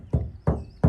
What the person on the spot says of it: that sounds like metal on the top that's not aluminum